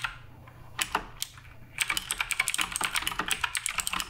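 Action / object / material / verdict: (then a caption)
tap / mechanical keyboard with plastic keycaps / plastic / none. Fingertips type on the plastic keycaps of a black RGB Redragon K588 Broadsword mechanical keyboard. A few scattered keystrokes are followed by a steady run of quick, bright, sharp clacks with almost no ring.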